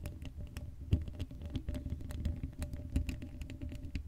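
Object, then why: Steel mesh microphone grille. Long acrylic nails scratch and tap the hollow black steel mesh grille of an uncovered Blue Yeti microphone. The result is a quiet, rapid patter of short, dry clicks and scrapes with a heavy low-end thump and faint bright ticks, each sound dying away almost instantly.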